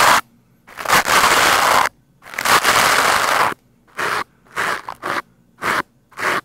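A stiff-bristled green plastic scrub brush is brushed fast and hard against the sides of a black foam microphone windscreen. It makes loud, bright, broadband scratching rasps: two long strokes of over a second each, then a run of short, uneven bursts. Each burst cuts off quickly into near silence.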